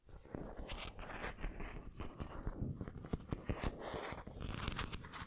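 Long nails scratch along the textured body of a white ceramic pineapple figurine held sideways. The result is a dense, continuous run of quick, dry scratches and clicks, low-heavy with some brighter flecks. The strokes vary in intensity throughout.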